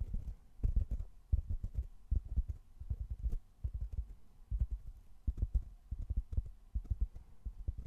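A medium rectangular black open-cell foam block, solid and soft, is held in both hands while fingertips scratch and tap its sides. The result is a steady run of soft, muffled, low thuds with quick dull scratches, falling into clustered bursts with almost no ring and no bright tone.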